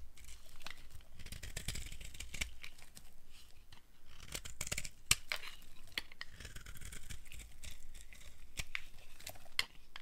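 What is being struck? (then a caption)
Bar of soap. A blade carves a solid tan bar of dry soap held in the hand, breaking off curls of soap. It makes steady dry scraping and crisp crackling, punctuated by sharp, bright clicks as pieces snap away, over a soft low handling rumble.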